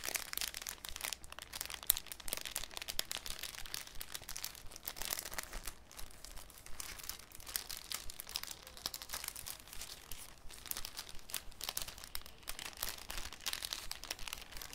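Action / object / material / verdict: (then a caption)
scrape / thin cellophane sheet / cellophane / none. A thin, clear cellophane sheet held in both hands over a wooden table is crinkled, folded and rubbed by the fingertips. The result is a continuous, quiet, irregular stream of sharp, bright crackles and rustles with no ring after each snap.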